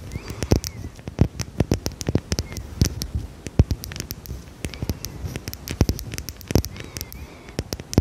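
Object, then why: Small glass perfume bottle. Long red nails tap and scratch a small dark red glass perfume bottle with a cap, likely filled. Quick, irregular clicks sound as sharp, dry ticks with a soft low thump beneath each, spread over a faint scratchy rustle. Every tap dies away almost instantly.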